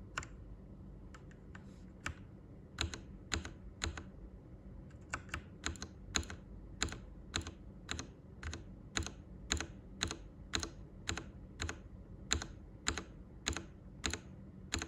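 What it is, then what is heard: Plastic mechanical keyboard typing. Fingertips type on a Royal Kludge RK98, a full-size, hollow-cased white mechanical keyboard with plastic keycaps and RGB backlight, heard close up. A few scattered key presses give way to a steady run of sharp, clacky strokes, each with a bright snap and a low, hollow body that dies away almost at once. A faint low hum sits underneath.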